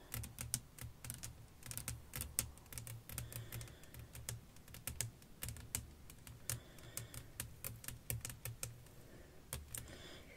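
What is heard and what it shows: Long nails tap rapidly on a flat, clear glass sheet laid over black lace fabric with fairy lights. The result is a quick, uneven stream of sharp, bright clicks that die away almost instantly, over a steady low hum.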